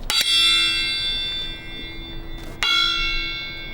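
A steel railway carriage wheel is tapped before departure in a traditional wheel-tap test, which listens for a change in the ring's note to reveal a fractured wheel. Two strikes, at the start and about 2.6 seconds in, each give a bright, bell-like clang with a high ring near 3.3 kHz that sustains and slowly decays. The ring is clear and steady, and no fault is found.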